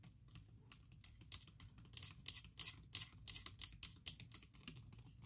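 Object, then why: Laptop keyboard with silicone cover. A MacBook keyboard covered by a soft silicone keyboard skin is typed on and tapped quickly with fingertips and long nails. The result is a steady stream of soft, bright clicks and taps with a faint low hum underneath.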